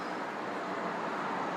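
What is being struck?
Nothing is struck.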